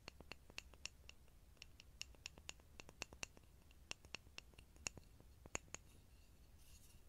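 A small, solid, grooved pine block held beside a small Sony pin microphone is tapped and scratched with fingertips and nails. About twenty quick, dry, bright clicks and taps ring near 2.7 kHz and die away almost instantly, over a faint low hiss and soft scratching.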